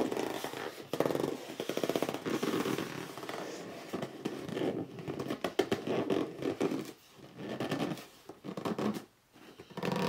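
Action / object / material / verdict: scrape / cardboard box / cardboard / none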